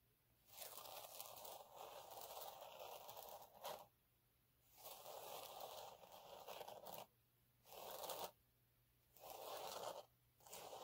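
Fingertips and nails scratch the textured surface of a flat, fine gold glitter sheet lying on a dark cloth. The sound comes in five separate bursts of dry, crunchy, tearing-like scraping with a bright hiss, split by quiet pauses.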